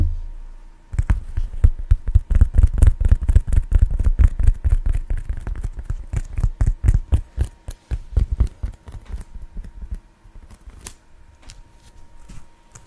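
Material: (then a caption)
Foam. Fingertips and short nails scratch and tap the surface of a thin, flat, solid black textured foam sheet held beside and in front of the microphone. After a second of quiet, a fast, uneven run of dozens of soft, dull, low-pitched taps and scratchy strokes follows, each dying away almost at once, and the tapping grows lighter and quieter toward the end.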